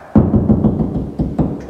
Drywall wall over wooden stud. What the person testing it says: you can tap and you can tell it right there there's gonna be a stud